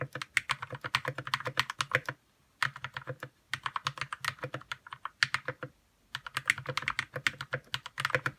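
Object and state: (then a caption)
Plastic mechanical keyboard. Fingertips type on a white 60% RK61 mechanical keyboard with plastic keycaps and lubed red switches. Quick bursts of crisp, clacky keystrokes with a low thock underneath come in four runs separated by brief pauses. Each keystroke dies away almost instantly.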